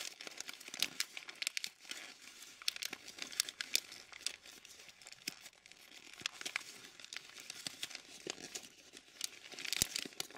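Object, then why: Thin glossy paper calendar page. A single thin, glossy paper calendar page, a purple June sheet, is crumpled and squeezed between the fingertips of both hands. The result is a steady stream of bright, crackly crinkles with sharp snaps throughout and almost no low end.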